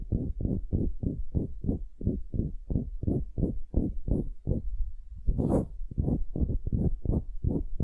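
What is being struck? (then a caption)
Wooden cube. Long nails scratch and tap the end-grain face of a solid pale wooden cube held upright. They make a rapid, steady run of soft, low, muffled thuds with almost no ring, and a brief brighter scratching swell breaks the rhythm midway.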